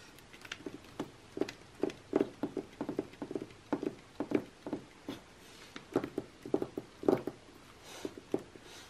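Long nails tap and scratch across the same page spread of an open glossy magazine lying flat, its thin coated paper giving a quick, irregular run of short, dry taps. Each tap has a papery midrange knock around 380 Hz that dies away almost at once, with faint high scratching between them.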